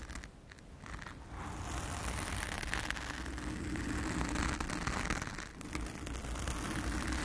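Long acrylic nails scratch a blue foam windscreen on a round studio microphone in close-up. The result is a dense, continuous crackly scraping and rustling with a heavy low rumble. It builds up over the first second and stays steady, with a brief dip midway.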